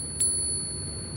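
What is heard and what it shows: A silver Peace dollar coin, bought at about melt value, is pinged once, giving a high, pure ring with a fainter tone that sustains for about a second. The long ring shows the coin is real silver.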